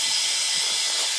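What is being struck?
Nothing is struck.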